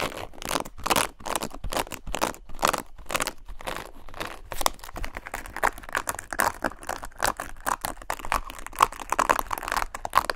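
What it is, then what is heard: Plastic paddle hairbrush bristles scratched. Long nails scratch the plastic bristles of a black paddle hairbrush close to the microphone. The result is fast, continuous scratching and crackling with quick dry ticks, centred around 1 kHz with bright upper edges.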